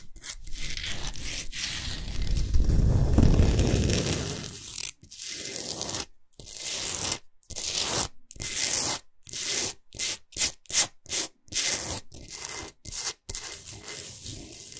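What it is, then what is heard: Himalayan salt block. Long nails scratch and rub aggressively across the top of a large, flat, rectangular solid block of pink Himalayan rock salt. A continuous gritty, rasping scrape builds to a louder, heavier rub in the first few seconds. It then breaks into a quick series of short, bright scratching bursts separated by brief silences.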